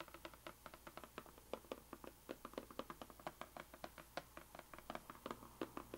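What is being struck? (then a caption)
Rigid cardboard box. Long green-painted nails tap rapidly on the sides and top edges of a small, closed, white rigid cardboard gift box with a printed puzzle label, held flat on a table. About 34 short, dry, hollow taps sit in the midrange, each fading almost instantly, with a few louder accents among the quieter ones.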